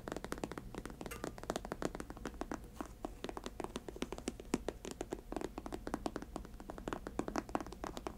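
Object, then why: Patent leather sneaker upper and laces. Long acrylic nails rapidly tap and scratch the glossy patent leather upper and white laces of a grey and white high-top sneaker, which rests hollow and empty on a table. The sound is a dense run of short, dry clicks and taps with a faint hollow thunk, mixed with soft scratching, and each tap dies away almost at once.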